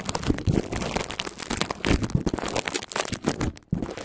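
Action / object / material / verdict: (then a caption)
scrape / plastic bubble wrap sheet / plastic / none. Long painted fingernails scratch and rub a clear plastic bubble wrap sheet lying flat over a recorder. A dense, continuous crinkling and scratching follows, full of quick, dry ticks and rustles that carry a heavy low thump. There is no ring, and the sound dips briefly quiet near the end before resuming.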